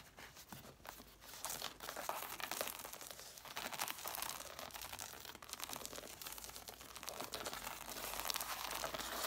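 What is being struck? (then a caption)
Stack of hardcover books, paper page edges. Long nails scratch across the covers and paper page edges of an angled stack of red hardcover books. The result is a continuous, dense, dry scratching and crinkling rasp, mostly bright and high with almost no low end, and it grows slightly louder over the clip.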